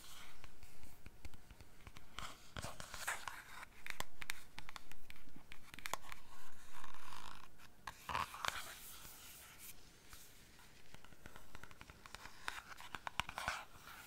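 A small, full, soft plastic squeeze tube of cream is scratched and tapped along its body with long nails while it is turned in the hand. The result is a run of quick, dry scratching and light tapping with crisp crackly bursts and a soft rustle between them.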